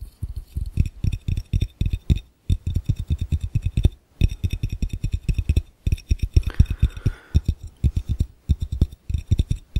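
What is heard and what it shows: Fingertips tap quickly on the base of an empty, hollow, clear glass fishbowl while the other hand holds its rim. Rapid bursts of short, dull, low thumps around 78 Hz die away almost instantly, with brief pauses between runs. A faint midrange tone briefly rises behind the taps partway through.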